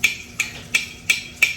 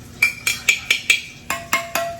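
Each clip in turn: First: sealed canning jar lid. Second: unsealed canning jar lid.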